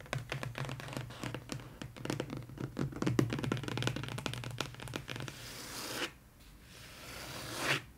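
Long pointed nails tap and scratch the lid of a long, closed, brown corrugated cardboard mailer box lying flat and hollow on a table, with both hands resting on top. A quick run of sharp, clicky taps with a low hollow thump fills the first five seconds, then gives way to a steady, bright scratching hiss. After a brief near-silence, a scrape swells up to a peak just before the end.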